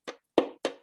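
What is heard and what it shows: A miniature impact hammer taps a violin's bridge three times, each tap giving a short, dry wooden knock with a brief body resonance around 300–500 Hz. The taps show the linear transient response of the violin body.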